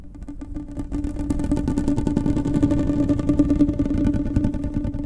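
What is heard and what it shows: Long painted nails scratch and run along the ridges of a hollow, finger-thick blue ribbed plastic pop tube held close to the mic. It makes a rapid, rasping train of ridged clicks over a steady hum-like tone near 300 Hz. The sound starts quiet and grows louder after the first second.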